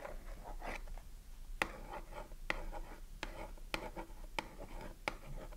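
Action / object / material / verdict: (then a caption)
tap / small cardboard soap box with a bar inside / cardboard / none. A long nail scratches and taps the printed front of a small cardboard Dove soap box held in the hand, with a bar of soap inside. Soft, dry papery scratching runs throughout, broken by six sharp, bright taps that stop almost instantly.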